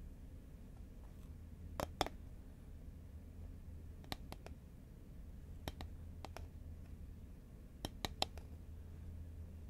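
Long nails tap the side of a green Pringles cardboard tube held horizontally in both hands. Sharp, dry clicks with a hollow midrange tone come in short clusters of two to four, each dying away almost instantly over a steady low hum.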